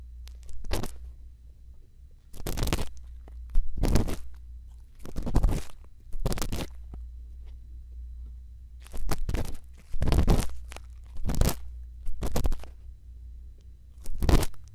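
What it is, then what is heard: Earpick scraping a silicone microphone ear. A thin bamboo earpick, held in fingertips with long lilac nails, scratches and scrapes inside the ear canal of a hand-sized soft silicone ear on a round white binaural microphone. Separate bursts of close, crackly scraping come and go over a deep, steady low rumble, with quiet gaps between them.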